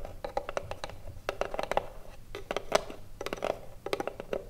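Long blue nails tap and scratch the front face of a small hollow wooden cigarillo box gripped on both sides. The result is a quick, irregular run of crisp clicks, each with a hollow woody knock around 630 Hz that dies away almost at once, mixed with soft scratching in between.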